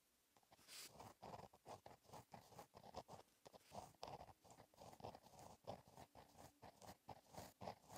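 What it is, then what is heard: Gel pen writing on a notebook page. A pink gel pen with a metal tip writes cursive on a flat black lined paper notebook page. Quiet, rapid scratching strokes come in short bursts, with a mid-range rasp and brief bright edges.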